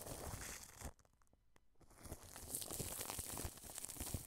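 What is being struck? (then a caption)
Plastic cling film stretched over a microphone. A wide paintbrush sweeps across clear cling film stretched over the grille of a white dome microphone, producing dense, bright crinkling and rustling with low thumps. The sound drops to near silence with a few faint ticks for under a second, then the crackling brush strokes return a little louder and continue to the end.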